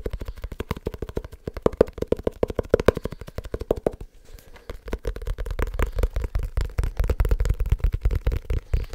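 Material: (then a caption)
Leather. A small, solid, dark leather-bound book is tapped quickly with fingertips and nails on its cover and edges. The result is a rapid, dry run of short, dull knocks with a mid-low tone and no ring. The taps break briefly around the four-second mark, then resume with a deeper, thumpier body.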